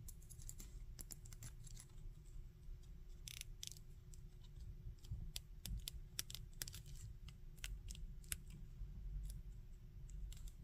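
Fingers and thumbs twist the arm joints and handle the back of a small hard-plastic articulated Spider-Man action figure. The handling produces a quick run of sharp, bright joint clicks and light scratchy rubbing over a steady low hum. Each click dies away almost at once.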